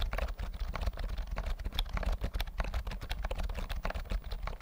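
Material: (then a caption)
Plastic. A full-size white plastic keyboard with round mint keys and a hollow body is held near the mic while its keys are typed and tapped with fingertips. A steady run of quick, hollow clicks and clacks comes through, with a deep thumpy body under bright, short click tops that die away almost at once.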